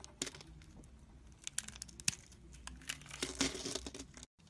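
A solid green soap bar is held in the hand while a metal utility-knife blade shaves and slices thin strips off it. The sound is a quiet, dry run of bright, crisp scraping and crinkling crackles, broken by sharp ticks and a few louder snaps as the blade cuts through. It stops abruptly in a brief silence near the end.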